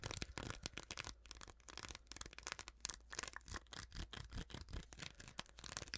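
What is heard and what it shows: Long nails scratch and tap along the vertical ridges of a small, clear, hollow plastic container held close. They make a quick series of dry, bright clicks and rasps that die away almost instantly over a low steady hum.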